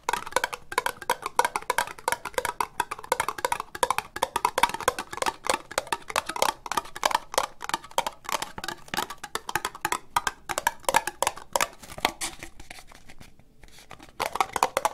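Long nails tap fast on an empty, hollow orange ribbed plastic cup, giving a rapid stream of short, dry clicks with a hollow ring around 950 Hz and a bright edge. The taps keep up a steady, busy rhythm, ease off briefly near the end, then pick up again.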